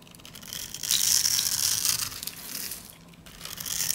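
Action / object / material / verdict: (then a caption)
scrape / soap bar cut with a metal blade / soap / none. A metal utility blade cuts tiny cubes off a solid, light-green, rounded bar of dry soap that has been densely scored into a grid. The result is a continuous, bright, crunchy crumbling that swells after the first second, dips briefly near the three-second mark, then builds again.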